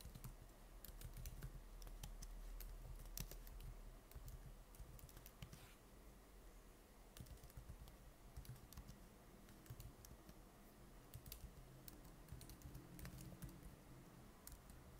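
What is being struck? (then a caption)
Plastic laptop keyboard. Both hands type steadily with their fingertips on the plastic keys of a silver laptop. Dense, irregular, light clicking taps run throughout over a steady low hum, with sharp bright transients that decay quickly.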